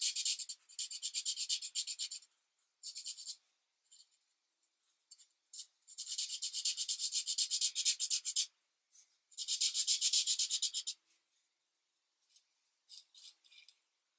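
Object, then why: Felt-tip marker on a thin paper page. A marker's felt tip is rubbed in short, repeated strokes across a thin paper coloring book page lying flat on a desk. Bursts of quick, scratchy rubbing alternate with brief pauses and a few lighter isolated strokes near the end. The sound is dry and bright, with no low-end body.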